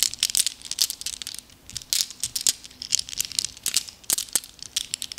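Small, solid, flat glass gems are held loose in both cupped hands and shuffled with the fingers so they clink together. The result is a quick, irregular run of bright, sharp ticking clinks that overlap in dense clusters with brief pauses between bursts. There is almost no low end, and each clink dies away at once.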